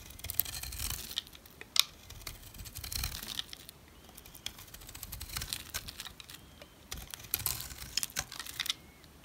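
A utility knife scrapes and shaves flakes off the face of a solid brown rectangular NC dry soap bar held by hand. The result is bright, dry, crinkly scraping in short bursts separated by quiet pauses, with sharp crisp ticks as flakes come away.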